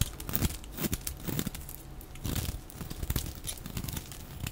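A metal utility-knife blade cuts and scrapes strips and chips off the face of a solid, dry, oval green bar of soap held in the hand, sped up to double speed. Rapid, overlapping crisp scraping and crunchy crackling bursts run throughout, with a bright, papery edge over a dull low body.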